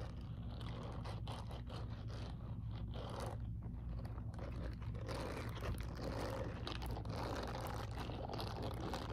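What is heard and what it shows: Long purple acrylic nails scratch and rake across the palm of an empty grey silicone dish glove held upright, its palm covered in short, soft silicone bristles. Quick, irregular scratchy rustles and crunchy brushing strokes run continuously over a steady low rumble, at an even, fairly quiet level throughout.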